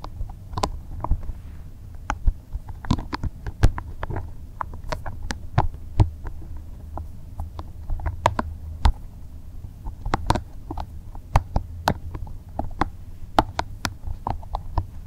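A small, translucent green soft rubber spiky massage ball is held in both hands while fingers squeeze and rub it. A steady low, muffled rumble runs throughout, broken by many short, sharp clicks and squeaky rubbing ticks that flash bright and die away almost instantly.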